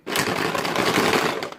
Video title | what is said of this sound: Super Cheap & Easy Baby Toy!! | that's what it sounds like with just the plastic beads